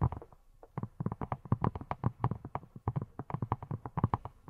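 Long nails rapidly tap and scratch a hand-sized yellow silicone pineapple-shaped brush with a textured surface that appears hollow. The result is a quick, uneven run of soft, dull, low thuds that die away almost instantly, with only faint, muted clicks above them.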